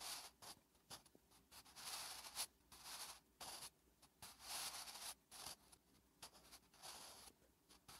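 A wooden graphite pencil held in fingertips writes Korean letters on a thin lined notebook page resting on a flat surface. The graphite gives a bright, dry scratching in short strokes and longer drags, separated by brief quiet gaps.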